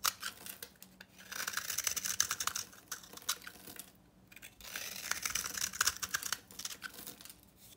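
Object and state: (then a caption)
Dry bar soap. A utility knife scrapes a solid, rectangular bar of old, very dry soap, painted copper on the outside with an orange interior and held in hand, breaking it into crumbly chunks and powder. Bright, dry, gritty scraping and crackling comes in two longer bursts with shorter scrapes around them and brief quiet gaps between.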